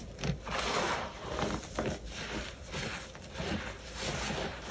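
Two bare hands with short painted nails crush, squeeze and rub loose, clumpy white baking soda in a large clear plastic tub, letting the crumbly powder fall through the fingers. Soft, continuous crunching and gritty rustling swells and fades in waves, with a few sharper crunches standing out.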